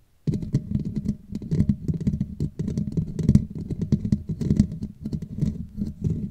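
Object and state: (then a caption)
Metal mesh microphone grille being scratched. Long nails on both hands scratch the black woven metal mesh grille of a hollow Blue Yeti microphone head. The result is a dense, continuous rasping patter, heavy and boomy in the low end, with quick bright crackles flickering over it. A faint steady hum runs underneath.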